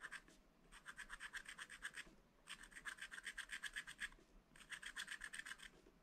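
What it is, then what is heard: Scratch-art paper pad. A wooden stylus scratches and rubs the black coating off a scratch-art paper sheet in a spiral pad. It makes three bursts of quick, even back-and-forth strokes, about 32 in all, with short pauses between. The quiet, dry, bright rasp centres around 1.8 kHz.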